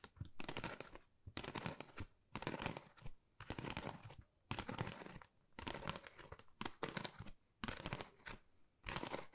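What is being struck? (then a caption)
Textured cardboard folder. Long nails scratch across a flat, pale pink, pebble-textured Dior cardboard folder that is thin and hollow. The result is bursts of dry, raspy scratching and crinkly rustling, broadband from a low hollow rumble up to a bright hiss, separated by short, uneven pauses.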